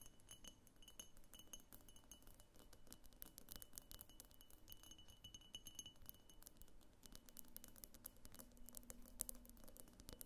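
A medium pink cased-glass vase with a thick clear base, hollow and empty and standing on a wooden table, is rapidly tapped around its sides and base with long painted fingernails. Dense, quick clicky glass taps run throughout, with brief bright clinks and a faint high ring over a low rumble.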